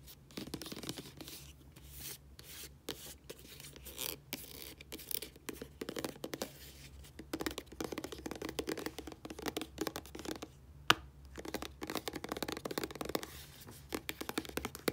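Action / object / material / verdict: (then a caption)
scrape / small plastic squeeze tube / plastic / none. Long nails scratch and rub along the flat printed sides of a small dark plastic squeeze tube of body wash, hollow and partly filled. Quiet, dense scratching and brushing mixes with many quick, dry ticks, plus one sharper click about two-thirds through, over a faint steady low hum.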